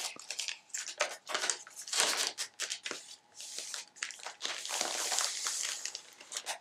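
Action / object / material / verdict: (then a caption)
scrape / paper magazine pages, water-dried and wavy / paper / none. Flat hands and long nails rub, press and scratch the wavy, water-dried pages of an open paper magazine, and one page is turned partway through. The result is a run of dense, bright crinkling bursts with no low end, some brief and sharp, others sustained and rustling.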